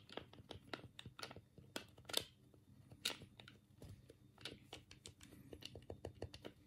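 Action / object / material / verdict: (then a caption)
tap / plastic game controller / plastic / none. A black hollow plastic Sega Mega Drive control pad is held in both hands while the thumbs press and click the D-pad and the A, B and C buttons. The result is a quiet, irregular series of sharp, bright plastic clicks that die away almost instantly, over a faint low background hum.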